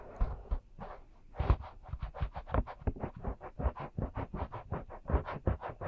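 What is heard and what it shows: Both hands cup the two small, soft silicone ear shapes of a 3Dio binaural microphone while the fingertips rub and scratch them. The result is a close, steady run of quick, soft scratching strokes with low, muffled thumps beneath, rising and falling in a loose rhythm.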